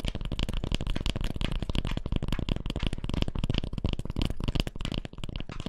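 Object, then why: Cork peanut massage ball. Long fingernails scratch a hand-sized, solid cork peanut-shaped double-ball massager held upright close to the microphone. The result is a fast, steady stream of dry, raspy scratching strokes with a heavy low-end rumble and no ringing after each stroke.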